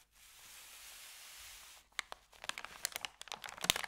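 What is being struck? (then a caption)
Thin paper bag. A thin, empty white paper sandwich bag is rolled and folded from the end by fingers. A soft, steady high hiss gives way to a series of sharp, bright crinkles and crackles that grow denser and louder toward the end.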